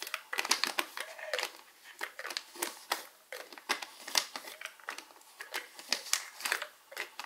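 A small, hollow, opaque white plastic Alive vitamin bottle with a white plastic cap is held in one hand while fingertips and short nails tap and scratch the cap. Dense, quick, bright clicks and scratchy crinkling sounds carry mostly high tones with almost no low end, and each tap dies away almost at once.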